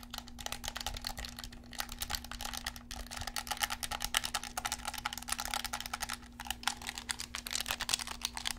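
A black handheld plastic gamepad with a hollow shell is held in both hands while thumbs and fingertips click its buttons and tap the shell. Rapid, bright plastic clicks and taps follow one another continuously over a steady low hum.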